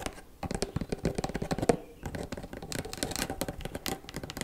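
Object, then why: Small cardboard gift box. Long black acrylic nails tap quickly across the faces and edges of a small, closed, hollow white cardboard gift box tied with a ribbon. The taps are short, dry, hollow clicks centered in the midrange, coming in a rapid, uneven patter with a brief pause just before the two-second mark before resuming.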